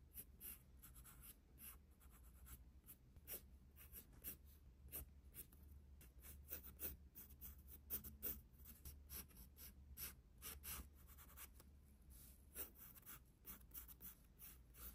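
The tip of a graphite pencil, held in the fingers, scratches across the page of an open paper sketchbook lying on a wooden desk while a face is sketched. Quiet, dry strokes come in quick, uneven bursts with a bright, papery hiss, over a steady low hum.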